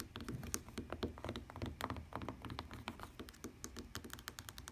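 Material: Fabric.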